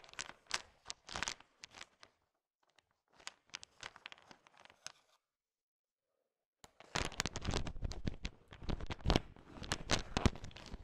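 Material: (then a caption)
Candy shell. A heap of small, hard, sugar-shelled candy-coated peanut M&Ms is pushed and stirred with a thin wooden stick. Bright, crunchy clattering and rattling come in short, irregular bursts, then fall silent for about a second and a half. The stirring returns as a denser, louder stream of clicks and scrapes that runs to the end.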